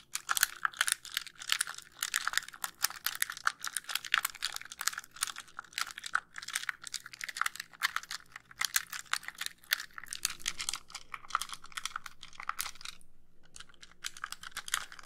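A white, hollow plastic handheld game console has its casing and buttons tapped and clicked by long pink nails. The result is a fast, dense run of sharp, bright plastic clicks and taps with almost no ring, and a brief pause just after the 13-second mark.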